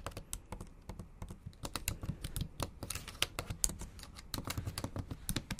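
Long acrylic nails type steadily on a bare, backlit MacBook Pro laptop keyboard with plastic keys. The result is a quick run of sharp, dry clicks with a bright tick on top and a soft low thud beneath, each dying away almost instantly.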